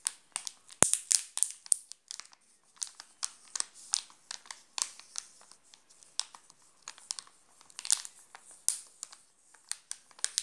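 Fingertips and nails scratch and crinkle the glossy black-and-gold plastic wrapper of a sealed, flat and full Nestlé Alpino Black Top chocolate bar lying on pink fabric. A quick run of sharp, bright crinkles and scratches comes in clustered bursts with almost no low end, each crackle stopping dead with no ring.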